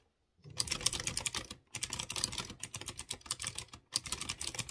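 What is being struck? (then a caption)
Plastic mechanical keyboard with metal-rimmed round keycaps. A light blue plastic mechanical keyboard with typewriter-style round chrome-rimmed keycaps on clear-housed blue switches is typed rapidly with the fingertips. Three bursts of crisp, bright clicking and clacking are separated by brief pauses. Each press is sharp with almost no ring.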